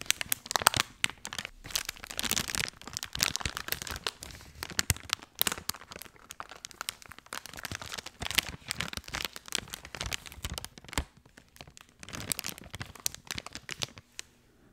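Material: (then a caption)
Soft plastic. A full, hand-sized blue soft plastic wet wipes pack is squeezed, crinkled and scratched by fingertips close to the mic. Dense, bright crinkling and crackling comes in bursts of short, sharp clicks with little low end. The sound stays busy throughout, then thins out and fades near the end.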